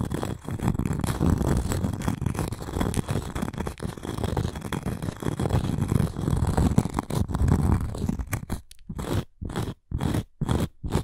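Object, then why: Cork coaster with wooden rim. Long nails scratch and tap the face of a round, flat cork coaster with a wooden rim, held in both hands. It makes a dense, low, crunchy scratching that runs almost continuously, then breaks into short separated bursts with brief silences toward the end.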